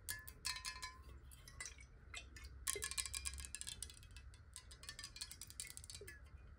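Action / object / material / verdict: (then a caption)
tap / glass bottle partly filled with water / glass / none. Long nails tap rapidly on a clear, hollow square glass water bottle that is partly filled with water and tilted in the hands. The result is a quick run of bright, sharp clicks with very short ringing, a faint glassy tone near 1 kHz early on, and a low rumble underneath.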